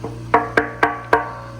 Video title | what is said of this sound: Pressure Switch, Tank, Control Box… It Was the Pump All Along! | you can kind of hear it's hollow up top, which it should be